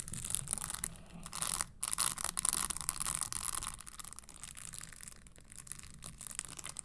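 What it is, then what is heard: Spiked leather stiletto pump. Long nails tap and scratch the tan leather insole and studded upper of a red spiked leather Christian Louboutin stiletto pump held upright. Dense, bright crackling taps and scrapes run steadily with a brief pause near the two-second mark. The sound softens over the second half.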